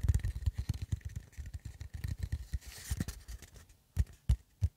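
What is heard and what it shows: An empty, hollow cardboard tube (a paper towel roll core) about 25 cm long is held in the hands in front of the microphone and tapped with the fingertips. It gives quick, irregular, dull low thumps with almost no ring, plus a brief soft hiss of brushing partway through. The taps thin out into three separate, louder knocks at the end.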